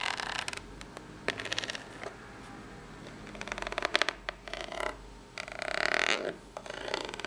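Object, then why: Corrugated cardboard box. Long pink natural nails scratch and tap the ribbed top of a small, hollow brown corrugated cardboard box. Dry, bright rasping scrapes come in uneven bursts, mixed with short, crisp taps and quiet pauses. The box adds a faint hollow knock with no lingering ring.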